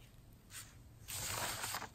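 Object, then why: Rice paper sheet brushed with ink. A soft-hair brush loaded with ink strokes across a thin, flat sheet of rice calligraphy paper lying on a felt mat, held down with fingertips. A short soft swish is followed by a longer, louder bright brushing sweep, with some quiet background underneath.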